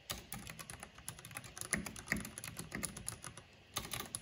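Fingertips and long nails type fast on a black plastic mechanical keyboard with a purple backlight. The result is a quick, irregular stream of short, dry plastic clicks and taps with bright high edges, a low thock underneath, and a brief burst at the end.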